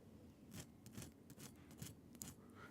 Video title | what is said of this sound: Will I finish my promos in time?! Reel Report with Jeffrey BTS Vlog | That skin is so crispy